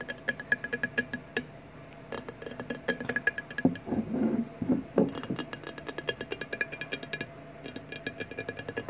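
Fingertips and nails tap the flat side of a large, clear, empty glass 1800 Peach Margarita bottle lying on its side on a wooden table. The result is a long run of quick, dry clicks with brief hollow glassy tones around middle C, bright ticks on top, and a denser cluster of rubbing taps in the middle.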